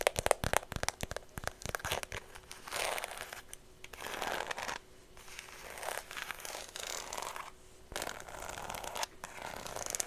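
Fingernails tap and scratch on a white faux leather shoulder bag with a red interior. A quick run of sharp, dry taps gives way to bursts of brushing, crinkly scratching, with a faint steady hum underneath. The sounds are close and quiet.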